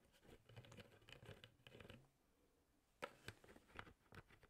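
A clear, hollow, mostly empty plastic drinking bottle with a yellow-green plastic sport cap is held in one hand while the fingertips of the other hand repeatedly tap and flick the cap. The first two seconds are a soft, rapid patter of light clicks. After a brief quiet pause, sharper, brighter plastic taps land one after another with very short decay.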